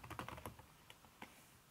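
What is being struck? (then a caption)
Laptop keyboard with silicone skin over plastic keys. Fingertips and long red-painted nails type fast on a backlit aluminium laptop keyboard with a red silicone skin over its plastic keys. A quick burst of soft, muffled clicks in the first half-second is followed by two isolated taps, each dying away quickly. There is no talking.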